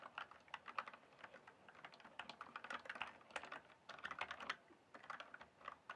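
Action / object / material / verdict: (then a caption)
tap / plastic mechanical keyboard / plastic / none. Fingertips type on a full-size backlit plastic mechanical keyboard with a hollow case. The result is a quick, uneven stream of short, crisp clacks centered in the upper mids with bright edges and almost no low end. Each keystroke dies away almost instantly.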